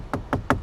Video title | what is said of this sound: 2022 Volvo XC90 - Is It The ULTIMATE Luxury SUV To Buy? | it sounds like that when you knock on that area right there that's actually very soft